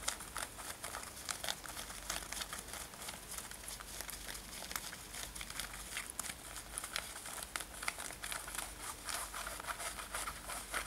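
Long nails scratch a worn light-blue denim lace-up top, soft fabric over the body, on both sides of the lacing. A steady stream of quiet, dry, bright scraping and crinkling strokes fills the clip, with many short scratchy bursts and little low end.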